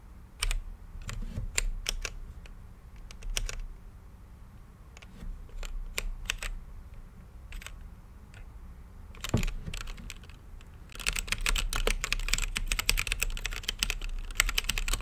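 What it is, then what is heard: Mechanical keyboard typing. Fingertips type on an RGB-lit mechanical keyboard with plastic keycaps and a clear acrylic case. Sharp, bright key clicks with a low thud start out scattered and irregular, then speed up into a dense, rapid run of presses for the last few seconds.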